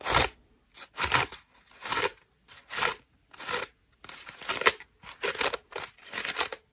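A white foam bath loofah with a rope loop is held in the hand and scratched across its ruffled foam petals with long nails. Short, irregular bursts of bright, crinkly scratching come and go with brief silences between them.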